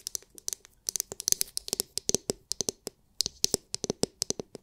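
Long nails tap and scratch a palm-sized oval massage brush with a hard, clear plastic dome filled with glitter. About 27 quick, sharp taps in uneven bursts make bright, dry, high clicks that die away almost instantly, with faint scratching between them and almost no low end.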